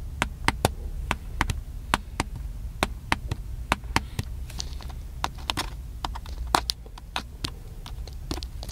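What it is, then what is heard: Plastic camcorder tapped. Fingertips tap the body of a small, black, hollow handheld plastic camcorder in a quick, irregular run of sharp, dry clicks that die away almost instantly. The clicks sit over a steady low rumble, with some softer brushing taps in between.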